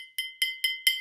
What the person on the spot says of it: a little louder with my pencil